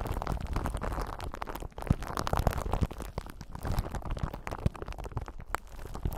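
Long pointed nails scratch a clear, solid, palm-sized sphere held in both hands, a crystal ball that may be glass or acrylic. The result is a steady, dense rustling scratch with a low rumbling body, dotted with short, sharp ticks and clicks.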